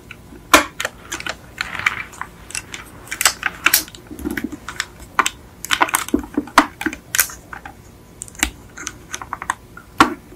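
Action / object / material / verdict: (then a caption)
tap / small die-cast metal toy car / die-cast metal / none. Long acrylic nails tap and click across a small yellow die-cast Beetle model car with a hollow painted metal body, resting on a fluffy mat. The taps come in quick, irregular bursts of short, sharp, bright clicks with almost no low end. Each click dies away almost at once against a quiet background.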